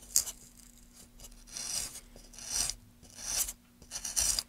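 A metal gouge, held in gloved hands, scrapes and cuts grooves into a solid light wooden board resting on a dark mat. Bright, raspy scratching strokes rise and fade at an uneven pace, with a faint steady low hum underneath.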